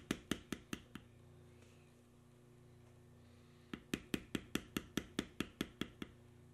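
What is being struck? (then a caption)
Steel beveler struck on vegetable-tanned leather over stone. A steel beveler held in the fingers is tapped along carved knotwork lines on a solid tan veg-tan leather strip resting on a stone surface, tooling the leather. Five sharp, dry taps are followed by a pause, then twelve more in a quicker run, each with a bright click and almost no ring. A low steady hum continues underneath throughout.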